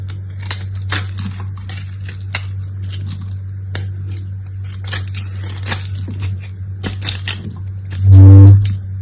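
A solid purple bar of soap, held between fingertips with long nails, is carved with the blade of an orange utility knife, repeatedly scraping and slicing thin pieces off its surface. Short, bright scraping and cutting ticks sound over a steady low hum. Near the end, a much louder low tone with stacked harmonics swells up briefly and fades.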